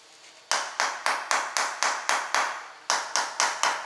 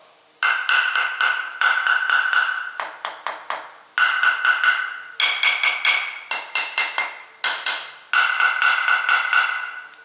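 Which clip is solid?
The first.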